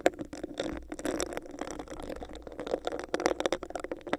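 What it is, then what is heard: Hollow plastic cup scratched by nails. Long nails scratch and rub the bumpy surface of a hollow, empty clear textured plastic cup held over a microphone. The result is a dense run of quick, crackly scratches and clicks, carried by a hollow, boxy resonance in the low mids around 500 Hz and flickering up into bright highs.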